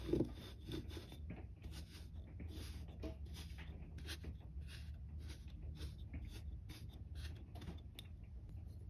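A wooden pestle-like stick pounds down on a small, solid grey-purple kinetic sand mound molded into a cup shape on a white textured mat. A sharp thud opens, followed by a steady, low, muffled crunching and rubbing with faint bright grainy ticks. The mound is flattened into a crumbled patty.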